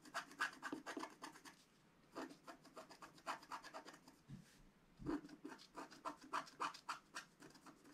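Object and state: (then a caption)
Scratch-art paper sheet. A wooden stick scratches the coating off a flat, black-coated scratch-art paper sheet held down by hand, working in short strokes. Quick, dry scraping rasps come in uneven bursts, with brief pauses between runs of strokes. The sound is bright and crackly, with little low end.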